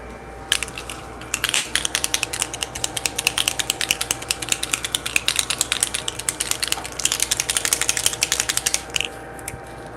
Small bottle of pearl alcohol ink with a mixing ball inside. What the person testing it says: you have to shake it up until you hear the ball